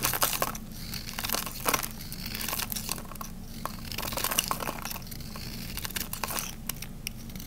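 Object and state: Dry bar soap being scraped.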